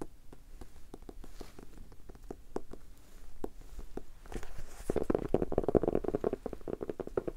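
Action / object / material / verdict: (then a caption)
tap / hardcover notebook / cardboard / none. A solid red hardcover notebook with a ribbon bookmark, held close, is tapped with the fingertips. It makes short, dull, low-pitched knocks with almost no ring, spaced out at first and then quickening into a dense, fuller flurry of taps in the second half.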